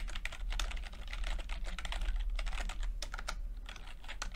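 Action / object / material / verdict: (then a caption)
tap / plastic chiclet computer keyboard / plastic / none. Fingertips tap the plastic keycaps of a backlit chiclet computer keyboard while typing, producing a rapid, uneven stream of short, bright clicks. A steady low hum runs underneath throughout.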